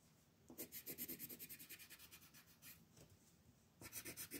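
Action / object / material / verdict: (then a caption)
scrape / colored pencil on a paper sheet on a table / paper / none. A yellow colored pencil scratches over a flat paper mandala coloring sheet lying on a table in quick shading strokes. It makes a rapid run of bright, dry, rasping scratches, eases into a quiet pause, then resumes with another burst of strokes.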